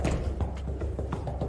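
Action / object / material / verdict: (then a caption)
tap / wooden floorboard glued to subfloor / wood / well bonded. A newly installed section of wooden floor board glued to the subfloor is tapped in a series of dull, low thuds. The taps sound solid rather than hollow, indicating the boards are well bonded.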